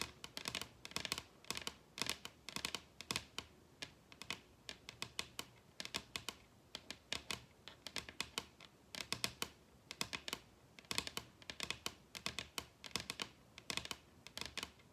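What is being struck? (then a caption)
Wooden tabletop. Long red acrylic nails tap a large solid wooden dining tabletop with both hands, producing quick flurries of crisp, bright clicks. The taps come in irregular bursts with short pauses between, each click dying away almost instantly with very little low-end weight.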